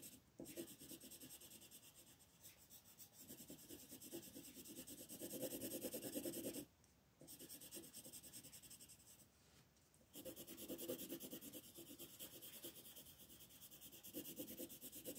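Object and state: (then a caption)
Colored pencil shading on paper. A black wooden colored pencil scratches and shades a dark area on a flat paper coloring page, while the other hand, with long red nails, rests on the page. Quick, steady scratchy strokes rasp against the paper with a bright, papery hiss. The shading stops briefly twice before resuming.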